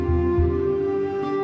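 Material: Nothing is struck.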